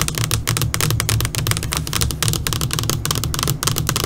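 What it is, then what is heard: LCD computer monitor screen. Long pointed nails on both hands tap rapidly on a flat black LCD computer monitor screen. Dense, crisp ticks and clicks, bright and very short, run continuously over a steady low hum.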